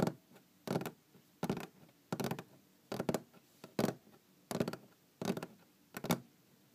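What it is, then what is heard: Wooden tabletop. Long green-painted fingernails tap and scratch across a large solid wooden tabletop, giving short, dry bursts of clicky taps with a low woody body. The bursts come in a loose rhythm with quiet pauses between them.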